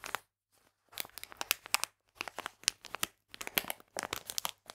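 A full plastic bag of polenta is crinkled with fingertips and nails and then laid flat on a table. Bursts of bright, dry crinkling come in clusters of sharp clicks, separated by brief quiet gaps.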